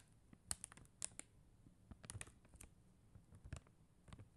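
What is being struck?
Plastic rhinestone stickers on paper backing, tapped with acrylic nails.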